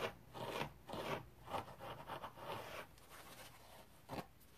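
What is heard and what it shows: A hand-sized rectangular kitchen sponge with a red abrasive synthetic-fiber scouring side is held and scratched dry with fingernails. Rough, raspy scratching bursts repeat at an uneven pace, mostly in the midrange with some brightness. Softer rubbing follows before a final sharp scrape.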